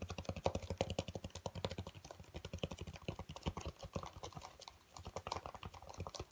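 Fingertips rapidly tap and scratch the surface of a dark speckled black foam packing insert with cut-outs, held up and turned in the hands. A dense, steady stream of soft, dull, muffled taps sounds with a low, thuddy body, faint scratchy texture on top, and almost no ring after each hit.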